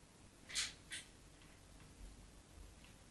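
The metal tip of a craft knife scores shallow lines into a solid white rectangular bar of soap held on a patterned surface. Two short, bright scratching scrapes stand out early, followed by faint, quiet scraping against a soft low background hiss.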